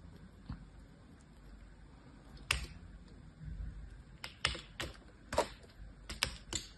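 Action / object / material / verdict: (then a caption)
flick / bar of soap cut into thin slats / soap / none. A solid green bar of soap, cut into many thin stacked slats and held in both hands, is pressed and flicked through by long painted nails and fingertips. Eight sharp, bright clicking, crumbling taps ring out at uneven intervals over a low, quiet background hiss, each dying away almost instantly.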